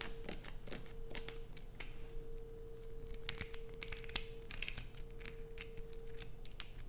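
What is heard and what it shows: Long nails scratch and scrape across the surface of a solid light-blue bar of soap with holes dug into it. The result is a rapid run of dry, bright scratchy strokes and short clicks, with a faint steady low hum underneath.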